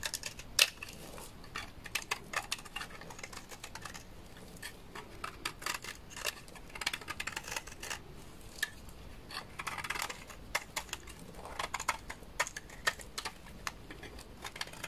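A thinning bar of dry white laundry soap held in the hand is shaved with a utility knife, producing a fast, irregular run of crisp, bright scraping clicks. Each cut is short and dry with almost no ring, some landing louder than others over a faint background hiss.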